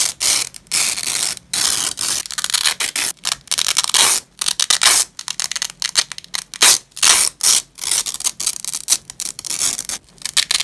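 A long purple nylon hook-and-loop (Velcro) strap lies on a grey cloth while black-gloved fingers pull the hook side away from the loop side. A run of bright, scratchy ripping peels comes in short bursts separated by brief silences, with almost nothing in the low end.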